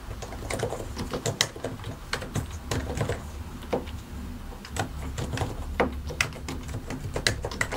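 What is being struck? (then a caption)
Plastic mechanical keyboard. Both hands type continuously with their fingertips on a white and grey plastic mechanical keyboard, pressing and tapping the plastic keycaps over the switches. The result is a stream of short, sharp clicks and clacks with bright tops. A steady low rumble runs underneath.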